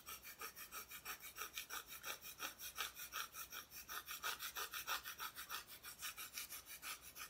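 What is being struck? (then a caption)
Flat solid wooden cutout, unfinished back. Long nails scratch and rub back and forth across the bare, unfinished wooden back of a flat, solid Christmas decoration cutout. About 19 quick, fairly steady strokes make a dry, bright rasping sound centered around 1.3 kHz, with almost no low end. Each stroke fades fast.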